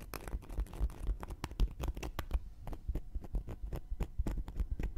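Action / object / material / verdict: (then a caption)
scrape / cork coaster scratched with a wooden needle / cork / none. A round, flat, solid cork coaster held in one hand has its surface and edge scratched and poked with a thin wooden knitting needle. The result is a quiet, dry scratching broken by many quick, sharp ticks and taps, with a soft low rumble underneath.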